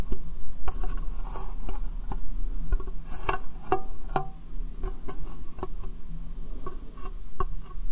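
Long painted fingernails tap on a small, hollow, empty, transparent plastic box set upside down over the microphone. A string of quick, hollow, clicky taps rings briefly over a steady low hum, with a deep, boomy tone.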